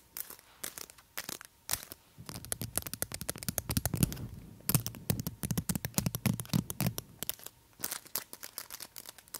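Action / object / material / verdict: tap / long acrylic false nails / acrylic plastic / none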